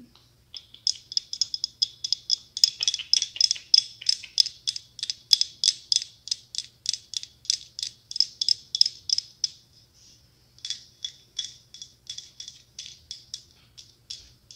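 Fingernail tips tap and scratch the red, gold and silver glass mosaic tiles of a hollow mosaic glass pumpkin, including the top near the stem. Several dozen quick, bright clicks follow in an uneven rhythm, each dying away almost instantly, with a brief pause near the ten-second mark before the tapping resumes.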